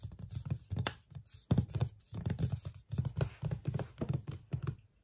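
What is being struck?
Cardboard box.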